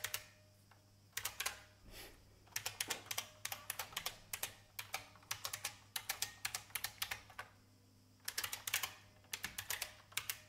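Fingertips with long painted nails tap the keys of an old beige IBM full-size plastic mechanical keyboard with a hollow case. Bursts of rapid, bright, clacky keystrokes come with short pauses between them, each click short and dry against a faint low hum.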